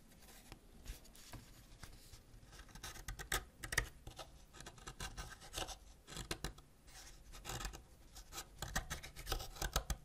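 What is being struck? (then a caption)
Wax crayon scraped with a ceramic knife. A white ceramic knife scratches a partly scraped solid purple wax crayon beside a heap of wax powder. The result is quiet, irregular, dry scraping strokes with short, bright rasping bursts that stop almost instantly, set over a low, soft rumble.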